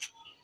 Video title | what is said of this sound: Kurkuri Bhindi Recipe -- How to Make Crispy Bhindi -Bhindi Kurkuri -Okra Bhindi Fry 👌#bhindirecipe | इसकी आवाज सुन रहे आप कितनी कुरकुरी हो गई